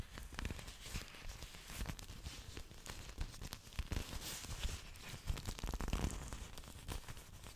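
Long dark nails scratch and rub along a fan of thick green orchid leaves. The result is a dense run of dry scraping, crinkling and tearing-like sounds with many quick, short bursts over a low rumbling base.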